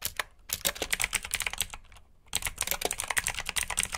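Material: Plastic.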